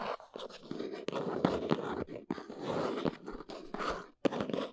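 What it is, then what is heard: Cardboard box scratched and tapped. Long nails tap and scratch the top and sides of a small, hollow, plain brown cardboard box standing on a fuzzy surface. The result is a steady stream of dry, crunchy scrapes and papery taps with a hollow midrange body. The sounds come in short bursts separated by brief gaps, and each tap dies away quickly.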